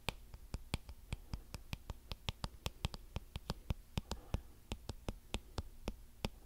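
Fingertips strum and scratch the colored flexible plastic bristles of a small blue plastic paddle hairbrush. About thirty short, crisp clicks and flicks ring out at an irregular, fairly quick pace, each bright and dry and dying away almost instantly. A steady low hum sits underneath throughout.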